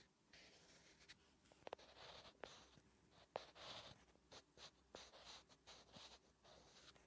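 A wooden graphite pencil writes Korean letters on a flat, solid lined paper notebook page. It makes quiet, bright scratching strokes in short irregular bursts, with several sharp little ticks as the pencil touches down.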